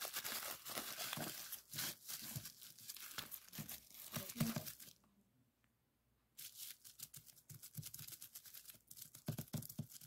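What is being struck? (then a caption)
Plastic bubble wrap sheet. A flat sheet of clear plastic bubble wrap lies on a wooden table while the fingertips of both hands press and pop its air-filled bubbles. Quick, irregular bright snaps and crinkling crackles come in dense bursts, then stop for about a second near the middle before the rapid popping resumes.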